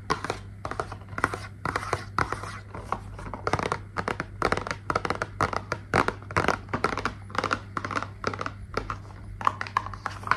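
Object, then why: Small cardboard box. A small, hollow pink printed cardboard box is held in both hands and tapped and scratched with long nails. The result is a rapid run of short, dry, papery clicks and scrapes over a faint steady low hum.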